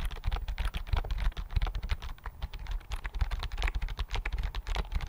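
Fingertips type steadily on a slim white plastic computer keyboard held close to the mic, making a dense run of quick, dry key clicks. Each tap carries a deep low thump under a brief bright click, with the taps arriving in uneven bursts and dying away almost instantly.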